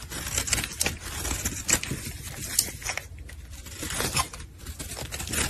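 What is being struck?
Bar of soap shaved with a metal blade.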